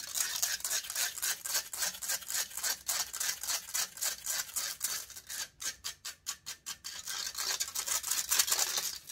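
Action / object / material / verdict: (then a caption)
scrape / metal mesh microphone grille / metal mesh / none. Long pointed nails aggressively scratch the hollow metal mesh grille of a silver condenser microphone, making fast, bright, raspy scrapes at roughly four strokes per second with almost no low end. Midway the strokes turn briefly into short, separate swipes with gaps between them, then return to dense continuous scratching.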